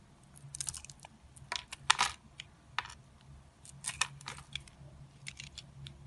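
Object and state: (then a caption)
Bar soap being carved. A solid purple and cream Palmolive bar soap, held in the hand, is carved with an orange-handled utility knife blade. Short, crisp scraping and cutting sounds come in irregular bright bursts, each dying away almost instantly over a faint low hum.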